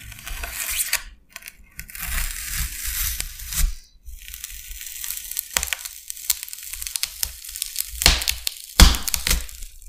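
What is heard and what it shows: A metal utility knife blade scratches and scores lines across the bead surface of a large, flat, solid white expanded polystyrene (styrofoam) sheet. Dense, crunchy scraping and crackling with bright, squeaky highs and a low rumble comes in bursts, separated by brief quiet gaps. Several sharp cracks stand out near the end.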